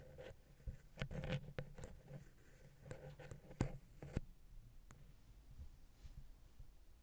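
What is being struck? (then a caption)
Metal microphone capsule touched with a wooden pick. A wooden ear pick taps and scratches the side of the silver metal X/Y microphone head on a Zoom H6, with its small hollow capsules. Irregular, close, dull thumps carry a low boomy body, and soft scratchy rubbing fills the gaps between them. Each tap dies away almost at once.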